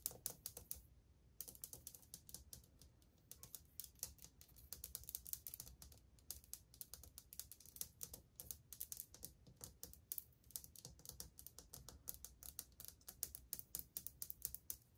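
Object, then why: Glazed ceramic wall tile. Long painted fingernails tap rapidly across old glazed white ceramic subway tiles set solidly on a wall, moving from tile to tile. Quick, sharp, bright clicks come in dense irregular bursts with almost no ring, with a short pause near the start before the tapping resumes.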